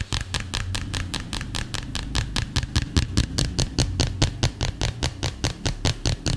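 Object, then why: Smartphone in plastic case. A hand-sized, flat, solid smartphone in a dark green plastic case is held close to the microphone and tapped fast with fingertips and nails. About 31 short, dry clicking taps come in a quick, slightly uneven rhythm, each bright and ending almost instantly. A steady low rumble sits underneath throughout.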